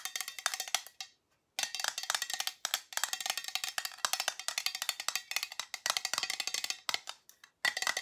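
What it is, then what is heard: Small round metal tin tapped with fingernails. A small, hollow, round silver metal tin with a lid is held in the hand and tapped on its lid with long nails. Rapid bursts of crisp, bright, tinny clicks with almost no ring follow one another, broken by a few brief pauses. The sound is thin and high, with no low end.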